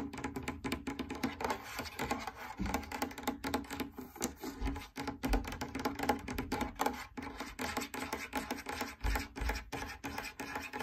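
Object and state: Fabric drum lampshade.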